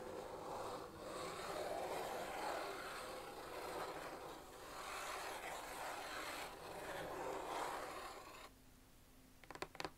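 Long acrylic nails scratch steadily across the lid top of a closed, hollow red Nike cardboard shoe box with shoes inside, held in front of the body, making a dry, swelling rasp for about eight seconds. The scratching then stops, and a few sharp, quick taps on the lid close the clip.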